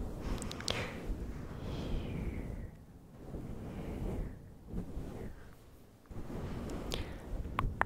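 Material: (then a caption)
Synthetic fur. Fingertips of both hands rub and scratch a fluffy grey synthetic-fur windscreen over a microphone throughout. The sound is a close, muffled, mostly low rumbling rustle that swells and fades in waves, dropping to quieter lulls between passes. Brief bright, scratchy crackles poke through near the start and toward the end.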